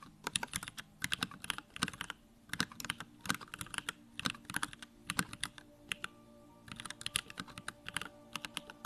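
Fingertips type rapidly on a small 65% Bakeneko65 mechanical keyboard with Durock lavender switches, a plastic case and pink-white plastic keycaps, resting on a wooden desk. Quick bursts of sharp, bright, clacky keystrokes come with brief pauses between runs, and each click dies away almost instantly over a faint steady hum.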